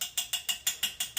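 Eight quick, sharp taps on the ceramic upper part of the toilet in a 2024 Jayco Pinnacle 38FBRK RV, checking that it is ceramic rather than plastic like the lower section. Each tap is a bright, high-pitched click that dies away almost immediately, with no low end. The top is confirmed as ceramic.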